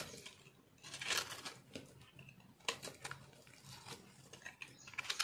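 A yellow-green speckled soap bar, a solid multicolor block held in the hand, is carved and scraped with a metal knife. The sound is a series of short, bright, crunchy scrapes and crackles as flakes break away. It is mostly high-pitched with very little low end, and there are a few sharper crunches among the softer scraping.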